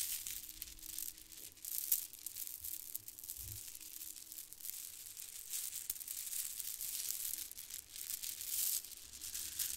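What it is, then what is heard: Plastic pearl bead garland. A bundle of white plastic faux-pearl bead garland strands is held up and dangled while fingertips grab, squeeze and shake the beads. The beads clack together in a dense, continuous, bright rattle of quiet crinkly clicks, with a faint steady low tone underneath.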